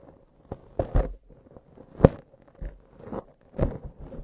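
Long acrylic nail tips scratch a soft, porous black foam windscreen on a microphone. The result is a series of uneven, muffled crunchy scrapes and rustles, mostly low in tone with no bright content.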